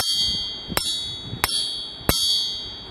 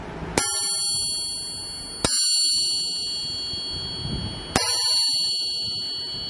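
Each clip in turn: First: stock cast crankshaft, tap test against a forging. Second: forged steel crankshaft, rings long and clear.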